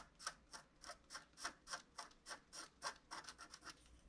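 A wooden stylus scrapes repeated back-and-forth strokes across a flat scratch-art card of wax-coated paper to fill in a tree trunk area. Fifteen short, dry scratching strokes follow at a quick, fairly steady pace, each a bright rasp with a midrange tone near 1.5 kHz. There is no ring after each stroke, and the overall level is quiet.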